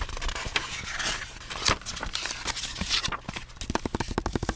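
Fingers tap rhythmically on a handmade, hand-bound book covered in textured paste paper, a book from a professor. Dry, short taps mix with a bright, papery, crackling scratch over a soft low thump. The clip ends in a quicker run of crisp, evenly spaced taps.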